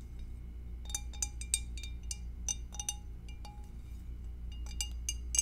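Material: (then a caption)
Glass. Long acrylic nails tap the rim and base of an empty, hollow, clear glass two-compartment rectangular food dish held and tilted in both hands. Quick, irregular, bright clinks with very short high ring ride over a steady low hum.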